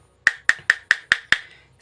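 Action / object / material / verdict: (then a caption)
tap / plastic miniature circuit breaker / plastic / hollow. A hollow plastic miniature circuit breaker, empty inside with no components and only its plastic cage, is tapped six times in a steady rhythm. Each tap gives a short, hollow, woodblock-like click centred near 1.8 kHz with a bright edge and almost no low end, dying away quickly. It sounds different from a solid, genuine breaker, which marks it as empty.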